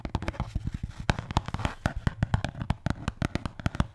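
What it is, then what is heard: Neoprene can cooler. A red neoprene Bintang beer can cooler (koozie), a can-sized hollow cylinder with stitched edges held in the hand, is tapped and scratched with long painted fingernails on its printed logo and plain fabric side. A quick, uneven series of soft, dull, low thumps cuts off almost instantly, with faint scratchy brushing filling the gaps between taps.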